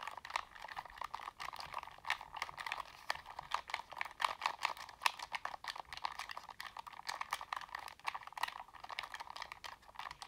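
A black, hand-sized, hollow plastic Sony PS3 gamepad is held in both hands while fingertips and thumbs press and click its buttons and sticks. The result is a steady stream of quick, dry plastic clicks and taps centered around 950 Hz with bright upper edges, each dying away almost instantly, with no low end.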